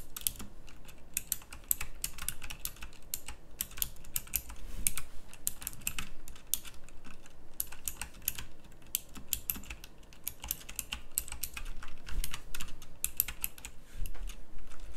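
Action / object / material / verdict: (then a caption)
tap / mechanical keyboard with round plastic keycaps / plastic / none. A full-size backlit pink mechanical keyboard with round plastic typewriter-style keycaps is typed on continuously with the fingertips. Rapid, dense, clicky keystrokes with bright, sharp tops and very short decay run steadily for fifteen seconds over a low rumble.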